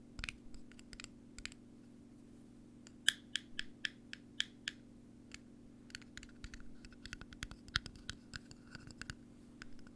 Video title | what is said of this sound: ASMR Tapping and Ear Brushing | the rest of it is some kind of thin bendy metal